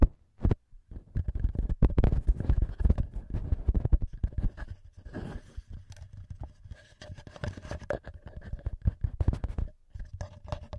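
Fingertips and short nails tap and scratch the small metal X-Y microphone capsules on a TASCAM handheld recorder, with the hands staying on the capsules throughout. The result is a dense, irregular run of close, boomy thumps and dry scratches, heavy in low rumble and very short in decay, with faint steady tones ringing in the mids.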